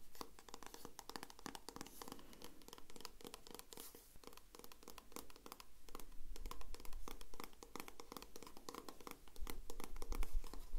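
Long red-painted nails and fingertips tap and scratch the surface of a small green and white plastic squeeze tube of eye-contour gel, which appears filled. The result is a dense, irregular stream of quick, bright clicks and crinkly scratches over a steady low hum, growing slightly louder toward the end.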